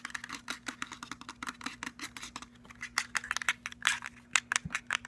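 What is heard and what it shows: Fingernails tap rapidly on the end buttons and body of a cylindrical black JBL portable speaker, which has a plastic body, a perforated metal grille, a rubberized end cap and silver trim. About 28 sharp, dry, bright clicks and ticks come in quick, uneven bursts with no ring after each. A faint steady low hum runs underneath.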